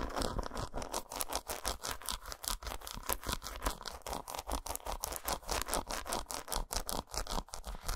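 Long nails rapidly scratch and tap the squares of an unwrapped solid dark chocolate bar lying patterned side up. The result is a quiet, continuous stream of dry, bright scrapes mixed with short, dull taps at an uneven pace, and each stroke dies away almost at once.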